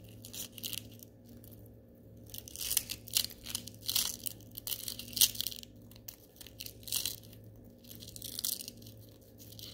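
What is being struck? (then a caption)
Small glitter-coated styrofoam balls. A few small gold glitter styrofoam balls are rolled and squeezed with the fingers in an open hand. The result is soft, irregular bursts of bright, crisp crunching and crackling over a faint steady low hum.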